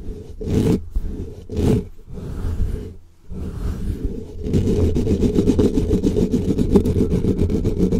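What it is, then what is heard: Foam microphone windscreen being scratched. Fingertips of both hands scratch aggressively at a black foam windscreen on a microphone, producing a deep, rumbling scrape. The first half comes in short bursts with brief pauses. From about four and a half seconds it becomes a continuous, rapid, rustling scratch.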